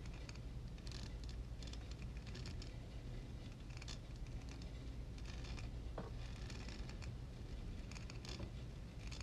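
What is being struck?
Metal mesh microphone grille.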